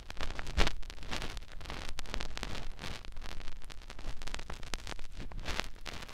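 Fingertips rub the opening of a white silicone ear on a binaural microphone, making close, continuous scratchy rubbing and crackling with many soft bumps. The sound is heavy in low thumping rumble, with occasional brighter swishes.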